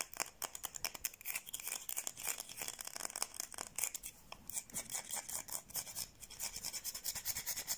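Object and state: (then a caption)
Bar of soap. Long painted nails quickly scratch and rub a palm-sized solid white bar of soap held in both hands. The result is a dense, rapid run of dry, bright scratching strokes with almost no low end.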